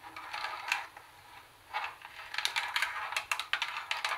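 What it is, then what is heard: Plastic boombox casing, tapped with nails. Long nails tap and click on the top buttons and the plastic body above the speaker grille of a black, hollow plastic CD cassette boombox. A soft scratchy patch in the first second gives way to a quick run of sharp, bright clicks that stop almost instantly, with nothing in the low end.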